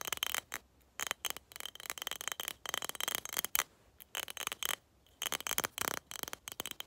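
A skull-shaped glass cup is tapped in quick, irregular bursts separated by brief pauses. The taps sound bright, thin and glassy, with mostly high tones, almost no low end and very little ring after each one.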